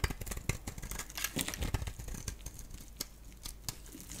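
A solid oval bar of yellow-core soap is held in the hand and shaved with a box-cutter blade, with flakes falling off. Quick, irregular scraping strokes give crisp, bright shaving sounds over a dull low thud, with sharper cuts standing out now and then.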